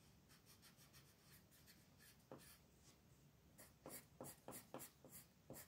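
A purple colored pencil rubs across a flat paper coloring book page lying on a table, shading the letters with repeated strokes. Soft, papery scratching comes in quick, uneven back-and-forth strokes, with bright hiss on each pass. The strokes grow louder and sharper in the second half of the clip.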